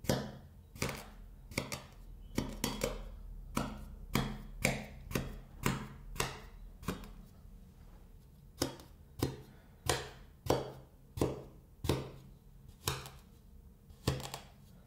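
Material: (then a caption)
Kinetic sand. A metal scraper blade is pressed down into a flat, solid, perforated sheet of kinetic sand resting on wood, making a steady series of short, crunchy cuts. Each cut is a brief, dry crunch that dies away almost at once, with a low steady hum underneath and a quieter gap near the middle.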